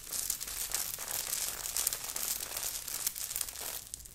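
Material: Knit fabric, sequins.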